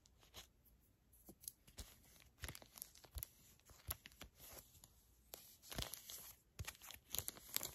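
A small, flat, filled Garnier Fructis hair mask sachet made of foil/plastic laminate is crinkled, scratched and squeezed with long acrylic nails. The result is quiet, bright crinkling with sharp, crackly bursts and scratchy, tearing-like rasps, broken up by brief pauses.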